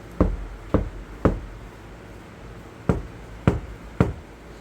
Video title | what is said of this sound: 카오디오 튜닝. 재료 고유 주파수 특징, 스피커 인클로저 튜닝, 스포티지 nq5 패리 카오디오 작업 2-5 Car audio tuning Material Frequency | 요런 잡음이 좀 철락철락하는 거. 요런 잡음